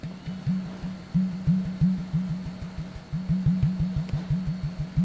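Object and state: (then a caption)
Plastic bottle tapped on the open neck. Fingertips of a flat hand tap rapidly on the open neck and top of an empty, hollow, clear plastic Sodastream bottle of about 1 liter with the cap off. Each tap makes a low, hollow, resonant pop whose pitch quickly rises to a steady tone, with almost no high content. The taps come at an uneven rhythm of about three per second.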